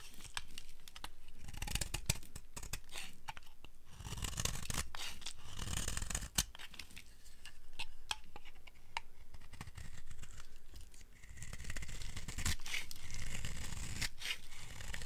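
A flat metal blade shaves curls and chunks off the edge of a palm-sized rectangular bar of dry, solid yellow soap held in one hand. Rapid, dry scraping and crisp carving strokes repeat steadily throughout, with soft low thumps beneath and bright crumbly crackle on top.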